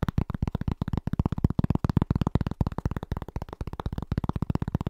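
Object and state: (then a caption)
Cork trivet. Fast fingertip tapping with both hands on a large, round, flat, solid cork trivet held against the chest. It makes a rapid, slightly uneven stream of short, dull, low-pitched thuds with no ring. The sound stays soft and muffled throughout.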